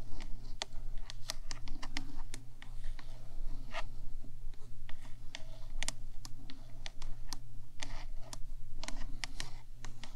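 Long black nails on both hands tap and scratch the top of the black hollow metal box of a 3Dio microphone. Quick, bright clicking taps land in irregular bursts over a steady low hum, with short dry scratching between them.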